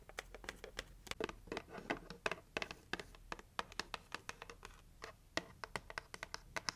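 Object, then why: Cardboard gift box. Long nails scratch and tap the lid and edges of a hollow pink heart-shaped cardboard gift box. The result is a quick, steady run of short, dry, bright ticks and scrapes over a faint hollow rasp, each one dying away almost instantly.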